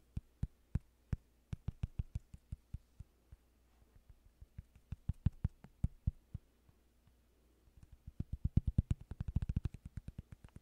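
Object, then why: Thin cork coaster. A small, thin, solid flat cork coaster is held in the hands near the microphone while fingertips and nails scratch and tap its surface. The result is a series of short, dry, low taps with very brief ring. They come in irregular bursts and quicken into a dense flurry near the end.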